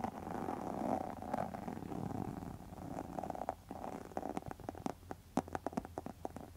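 Long metal nail tips scratch across a pink textured faux leather wallet, making a soft, continuous rasping for the first few seconds. This gives way to a run of short, sharp ticks and scrapes with brief quiet gaps between them.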